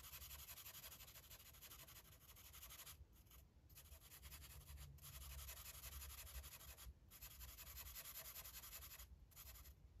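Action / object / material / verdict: scrape / felt-tip marker rubbed on a paper colouring page / paper / none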